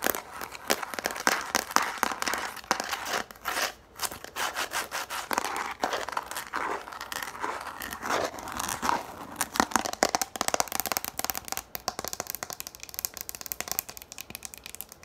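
Long nails tap fast on a yellow plastic frisbee held in the hands, making rapid, dry, clicky taps mixed with crinkly scratching. The sound is bright and thin with almost no low end, and each tap dies away almost instantly. The tapping gets denser and quicker toward the end.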